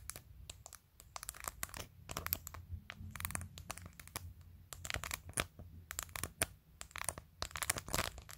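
Long nails reach around from behind a phone and tap the top edge of its clear glitter plastic case, which is covered in rows of acrylic press-on nails. A rapid, irregular run of sharp, bright clicks follows, each dying away almost instantly over a faint low hum.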